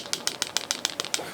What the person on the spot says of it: I'm going to shake this really hard. So the batteries will rattle around in there.